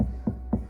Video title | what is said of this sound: BMW G82 M4 Full Audio Upgarde | if I tap on here, you can hear that's dead solid